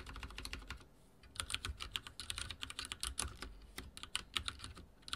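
Fingertips type rapidly on a backlit mechanical keyboard with dark plastic keycaps and a silver frame. Dense, bright keystroke clicks come in quick bursts with short gaps and a soft low thump under each press.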